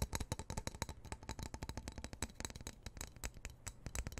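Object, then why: Steel knife blade. Fingernails scratch and tap rapidly on the solid steel blade of a black-handled knife held over a microphone. The result is a quick run of short, dry clicks with a low thump underneath and bright, brief metallic edges that die away almost instantly.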